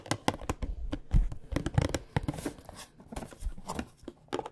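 A printed cardboard tea box holding tea bags is held in both hands and tapped with long nails. Quick, dry clicks and dull hollow knocks come in an irregular series, mixed with light scratchy rustling between the taps.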